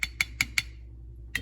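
Five quick taps on a metal canning jar lid after canning, checking the seal. Each tap gives a bright, short ringing ping around 2 kHz: four evenly spaced, then a pause before a fifth. The clear ring indicates the lid is sealed.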